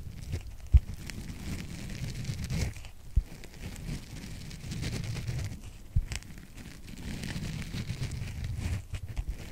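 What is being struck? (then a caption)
Open-cell foam sponge block. A rectangular white open-cell foam sponge block, solid and held upright in one hand, is scratched across its top surface by the fingertips and nails of the other hand. The result is a steady, low, rough scraping rumble with soft crinkly texture. A few sharp, louder taps stand out near 0.8, 3.2 and 6 seconds.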